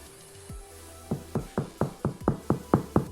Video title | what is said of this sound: HOW TO MAKE Sourdough Bread Easy to Follow for Beginners - Recipe - Full of Flavour - Cook with Adam | give it a tap on the bottom. Hear that hollowness?